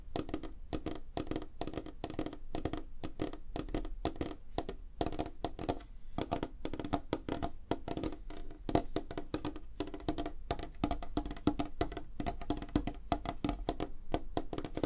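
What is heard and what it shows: Fingernails of both hands tap rapidly on a flat, solid, light wooden tabletop, producing a dense, continuous stream of short, dry clicks and knocks. Each tap dies away almost instantly, with a low, woody body and a faint tone around 300 Hz.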